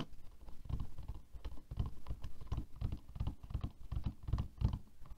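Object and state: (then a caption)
Plastic hairbrush bristles tapped. Long nails rapidly tap and strum the plastic bristles of a black plastic hairbrush lying on a table. The result is a quiet, continuous patter of quick, dull taps with very short decay, weighted almost entirely toward low frequencies.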